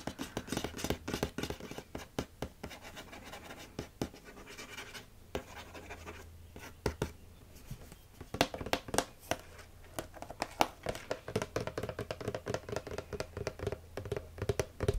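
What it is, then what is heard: Glass bottle with plastic shrink label. Fingernails and fingertips scratch and tap along the green-and-blue plastic shrink label of a medium dark glass olive oil bottle held in both hands. Dense, dry, rapid scratching and crisp tapping clicks carry a faint low hum beneath them. The sound softens into lighter rubbing midway, then returns to sharper, brighter taps toward the end.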